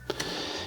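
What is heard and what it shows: A 20 g metal fishing jig fitted with an internal rattle is shaken, giving two quick, bright clicks from the rattle inside. A metallic ring then lingers for about half a second.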